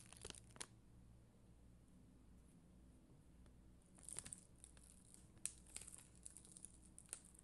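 A black mascara spoolie, held in a hand with long green nails, brushes across a flat, solid sheet of red and clear acrylic rhinestone stickers on white backing. The result is a quiet, bright, scratchy crackle with short crisp bursts over a steady low hum.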